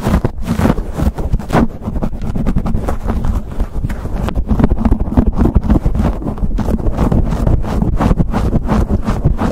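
A black foam windscreen on a microphone is scratched and pinched with fingertips and nails. The result is a dense run of fast, dull, low-heavy scrapes and thumps that continues without pause.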